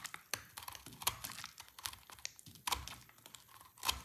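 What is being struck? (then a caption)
Bar of soap cut with a knife blade. A solid, dry green soap bar is shaved and carved with a snap-off utility knife blade, and sticks of soap break off. A rapid series of crisp, bright scraping crackles and sharp snaps is heard, with quick decays and little low end.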